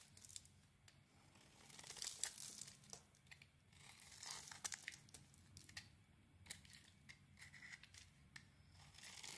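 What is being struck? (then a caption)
Bar of soap. A rectangular, palm-sized solid white bar of soap with a glossy red layer is held in the hand and shaved into dry flakes with a utility knife blade. Quiet, bright, crisp scraping and crackling strokes come in uneven bursts, each with a short tearing, crinkling texture and almost no low end. The dry flakes peel away from the bar as it is carved.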